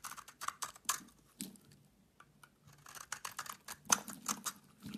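A solid oval bar of soap with a green rind and a pale yellow inside is held in hand and shaved with a utility knife blade that cuts off curls. A quiet, rapid series of crisp, bright scraping and crackling strokes is heard, with short pauses between some of them. Each stroke stops almost at once, and there is very little low end.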